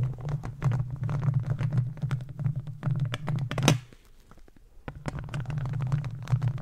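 The plastic claws of gardening gloves scratch and tap a hollow metal mesh microphone grille. A dense run of crisp clicks and scrapes rides on a heavy, boomy low rumble, with one sharp, bright tap standing out. The sound then drops to near silence for about a second before the rumbling scratching resumes.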